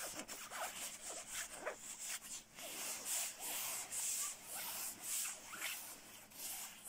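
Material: Nylon.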